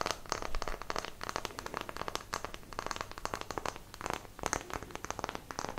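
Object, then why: Small wooden block tapped and scratched with fingernails. A small, solid, light-coloured square wooden block is held up in front of a microphone with both hands while long nails tap and scratch across its faces and edges. A dense run of quick, dry clicks and scratchy crackles is heard, centred around 1.3 kHz with bright edges. Each tap stops almost at once, with no ring.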